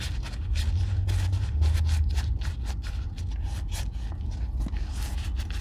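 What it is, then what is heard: Leather boot being rubbed with oil. A gloved hand rubs oil into the toe and sides of a hollow brown leather Red Wing Weekender Chukka boot held in one hand. Quick, uneven rubbing strokes make soft, bright swishes over a steady low rumble.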